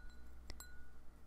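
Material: Glass.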